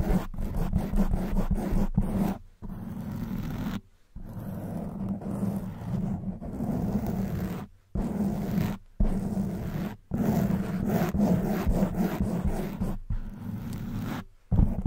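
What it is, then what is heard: Foam microphone windscreen being scratched. A black, hollow foam microphone windscreen is scratched with long white nails and rubbed with fingertips. Dense, rumbling scratching and rustling, heavy in the low end, comes in long bursts separated by brief silences.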